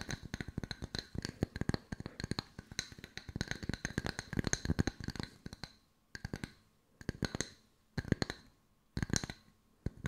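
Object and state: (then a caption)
Wooden slice coasters. Long nails rapidly tap and scratch on two solid round wooden log-slice coasters with bark rims. Dry, clicky taps with almost no ring run in a dense stream for about six seconds, then break into short bursts separated by brief silences.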